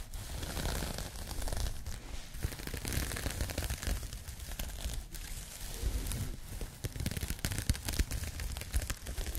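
Long nails scratch across the open-knit fabric of a pink crocheted yarn bag. The result is a continuous, dense scratchy rustle with a deep low rumble underneath and a faint bright hiss. It holds fairly steady, with brief louder swells throughout.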